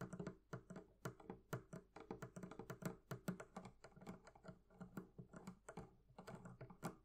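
Fingers tap rapidly on the leather covering of a barrel chest, making a quick, uneven run of soft, muffled taps. Each tap is dull and low with only a faint bright click and dies away almost at once, like quiet typing.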